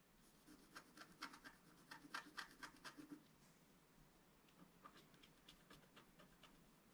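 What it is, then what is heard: Scratch-art paper card being scratched. A wooden stylus scratches across a flat coated scratch-art paper card while the other hand steadies the sheet. The result is a series of short, dry, irregular scrapes with bright gritty edges. They are denser and louder in the first half, then turn softer and sparser.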